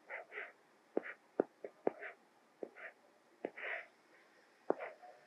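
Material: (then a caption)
Glass. A white plastic Apple Pencil, held in the fingers, writes in short strokes on the small flat glass screen of an iPad Mini tablet. Crisp, dry tip taps on the glass alternate with soft, hissy scratching bursts. The sound is quiet and close, with no ring after each tap.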